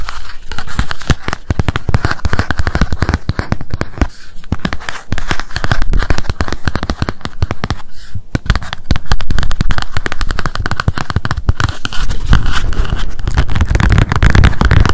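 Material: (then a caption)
Paper, cardboard. A small pink spiral memo notebook lies flat, its solid paper stack tapped quickly with long acrylic nails on the cardboard cover. The result is a dense, rapid stream of short, dry, low-heavy clicks. The taps blur together too fast to count and keep a steady, crackling texture throughout.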